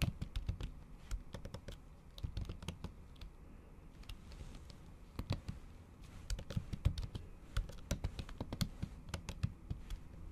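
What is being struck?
Laptop keyboard with plastic cover.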